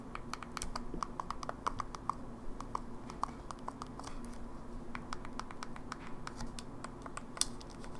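An open silver plastic Game Boy Advance SP, small and hollow, has its face buttons and D-pad tapped fast with long nails. The result is a steady run of quick, dry plastic clicks with bright, sharp attacks over a low background hum. Some taps have a faint ringing tone, and one loud click comes near the end.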